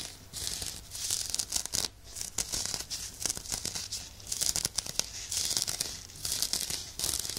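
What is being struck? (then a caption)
Woven nylon exfoliating glove. Fingernails continuously scratch the surface of a soft, hollow, hand-sized woven nylon exfoliation glove worn on one hand, held next to the left microphone. The textured synthetic mitt gives off dense, bright, crinkly scratching in rising and falling bursts. The rasping has almost no low end and no ringing.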